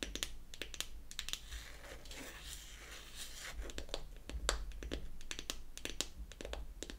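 Long acrylic nails tap and scratch the top of a closed, hollow, small round pink-painted wooden foundation compact. Sharp, bright clicks come in quick irregular bursts, with a softer, crinkly scratching stretch in the middle. Each tap dies away almost at once.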